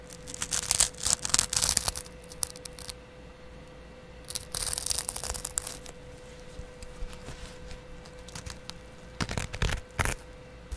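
A small double-edge metal razor blade, held in the fingers, scratches across the green abrasive scrub side of a hand-held kitchen sponge, making bright, raspy tearing and scraping sounds. The scraping comes in dense bursts at the start, in the middle and near the end, with quieter scattered scratches in between. A faint steady low hum runs underneath throughout.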